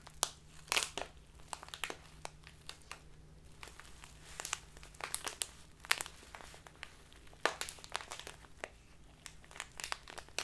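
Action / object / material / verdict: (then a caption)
scrape / plastic bag of loose tea / plastic / none. A full plastic bag of loose tea with a green label is turned and squeezed in both hands with long painted nails. Sharp, bright crinkles come in irregular bursts over a faint steady low hum.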